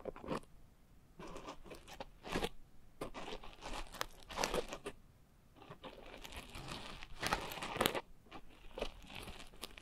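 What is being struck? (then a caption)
Coarse foam scrub sponge. A pink coarse foam scrub sponge is scratched with long nails, then squeezed at the edges. Quiet bursts of dry, crunchy, crinkling scratches come in uneven clusters with short pauses between them, spreading from low rustle up into bright hiss and stopping without any ring.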